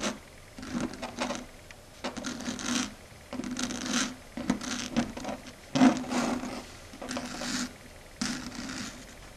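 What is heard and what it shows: Long red stiletto nails tap and gently scratch a flat dark grey chalkboard surface. Short bursts of dry, rasping scratches alternate with pauses, each burst carrying a steady low tone and a bright hiss, with a few sharper clicks from the taps.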